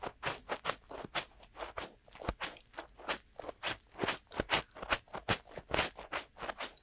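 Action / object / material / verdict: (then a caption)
scrape / silicone ear cups of a binaural microphone / silicone / none. Fingertips of both hands rub and scratch inside the soft, hollow silicone ear cups of a binaural microphone to mimic ear cleaning. The result is a fast, irregular run of short, crunchy scraping bursts, about two to three per second, with a bright, crackly texture and little low end.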